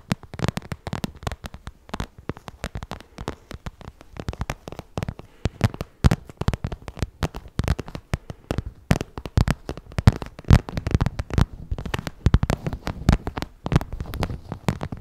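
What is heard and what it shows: Long nails tap rapidly on the surface of a glossy pink vinyl zippered cosmetic pouch with a small appliqué, held close in front of a microphone. The taps form a dense, uneven stream of short, dry clicks, each with a soft low thump and a brief bright edge that dies away almost at once. The tapping runs steadily for about fifteen seconds, shifting slightly in loudness throughout.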